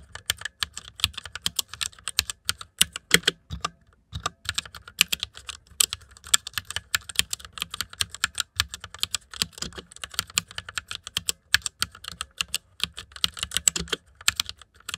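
Fingertips type fast on the keycaps of a white plastic mechanical computer keyboard. A dense, uneven stream of sharp, bright clicks and clacks is heard, each dying away almost instantly, with brief pauses between bursts.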